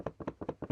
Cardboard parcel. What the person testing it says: There's like a clunk, clunk, clunk, clunk, clunk. If I shake it this way, nothing.